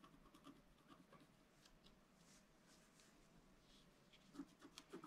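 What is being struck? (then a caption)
Wax-coated scratch-art card scratched with a wooden stylus. A wooden stylus scratches lines into the lower part of a black-coated scratch-art card lying flat on a table. Soft, dry, irregular scratching strokes run throughout, with brief bright rasps. The strokes grow louder and sharper near the end.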